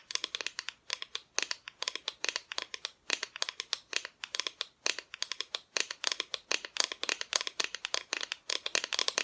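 Long nails of both hands tap quickly on the painted front of a flat, thin, solid cut-out plywood Christmas decoration. The result is a rapid, uneven stream of crisp, dry clicks that are bright and high, with no low end and almost no ring after each tap.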